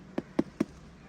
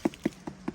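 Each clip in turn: First: Three short, firm knocks around 300 Hz on a jackfruit that is mature but not yet ripe. Second: Four soft, dull knocks on a jackfruit, low and dead with no ring: a ripe fruit.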